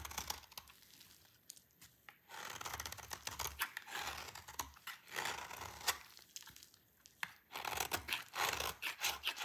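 A utility knife blade cuts and scrapes a solid oval bar of dry green soap held in the hand, shaving it into curls. The sound is a run of dry, crisp scraping and crunching strokes, bright and papery like tearing, coming in bursts separated by short quiet gaps.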